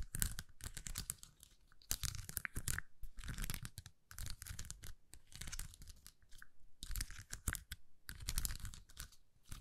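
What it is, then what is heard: Plastic rhinestone sticker sheet. A flexible plastic rhinestone sticker sheet, bent and held in both hands, is scratched by long nails across its rows of small acrylic gems. The result is a run of dense, rapid scratching and crinkling bursts with bright, hissy edges and a low rumble underneath. Short pauses break up the bursts.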